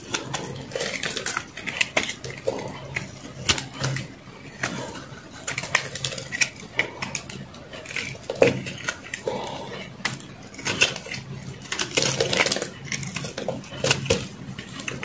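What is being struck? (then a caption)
Bar of soap cut with a metal knife. A metal knife blade slices and scrapes crunchy pieces off a solid white soap bar, which shrinks as it is carved. The clip is a dense run of short, bright, crackling cuts and scrapes with quick decays and brief pauses between strokes.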